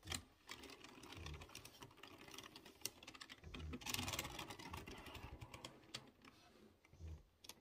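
Fingertips type on a typewriter-style mechanical keyboard with chrome-rimmed round keycaps over exposed blue switches. The result is a fast, uneven stream of sharp, bright clicks, with occasional low thumps as the keys bottom out.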